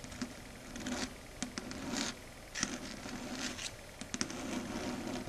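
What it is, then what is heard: Chalkboard. Long red stiletto nails tap and gently scratch a flat dark grey chalkboard surface. Quiet, steady scratching runs throughout, broken by several sharp, bright taps that die away almost instantly. A faint low hum sits beneath.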